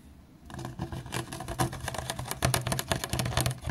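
Fingertips tap and drum on the sides of a clear, ridged, hollow PET plastic water bottle that appears empty, held sideways and then stood upright on a mat. After a brief quiet start, a quick, uneven run of hollow, dull thumps with bright plasticky clicks follows, each tap dying away almost at once.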